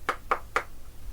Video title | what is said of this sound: Acoustic Steel - the Basics | acoustic steel, 4mm thickness, with a polymer designed to take resonance, to convert resonance to heat